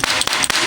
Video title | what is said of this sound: CASING NFON LAMA HANCUR LEBUR WALAUPUN DISIMPAN RAPI 😱💔 | Keras tu. Ketuk sikit. Dia macam kaca.